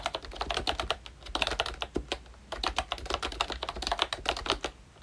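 Fingertips type on a full-size ROYCHE Disney Mickey Mouse retro membrane keyboard with a hollow pink plastic case and round black plastic keycaps. Quick, bright plastic clicks and taps come in uneven bursts with short pauses, each keystroke dying away almost at once.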